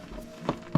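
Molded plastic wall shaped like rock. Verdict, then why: Fake. Two taps on a wall made to look like rock, at a film-set style village in Northern Ireland, give dull, hollow, short thuds with almost no ring. The sound shows the wall is actually molded plastic, not stone.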